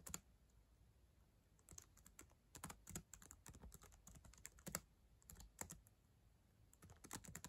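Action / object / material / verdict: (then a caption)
tap / plastic laptop keyboard keys / plastic / none. Long acrylic nails and fingertips type on the plastic keys of a solid black ThinkPad laptop keyboard. Quiet, sharp, bright clicks and taps come in irregular bursts with brief pauses, each dying away almost instantly over a faint low thump.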